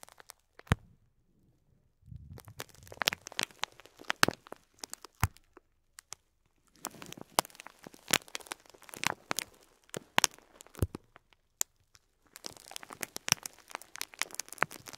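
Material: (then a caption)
Plastic. Fingertips squeeze a full, clear plastic bag of cream faux pearl beads resting on cloth, crinkling the film and shifting the plastic beads inside. Quiet, bright crackles and sharp little clicks come in three bursts separated by near-silent pauses, with a soft low rustle under some of them.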